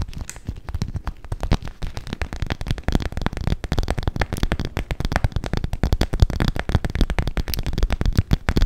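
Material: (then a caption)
PVC plastic. Long acrylic nails rapidly tap and scratch the crinkly surface of a medium-sized, clear transparent PVC/vinyl makeup pouch with pink trim, soft, hollow and apparently empty, held close to the microphone. The result is a dense, continuous stream of short, dry crackling taps with heavy low thumps and a faint bright crinkle over the top.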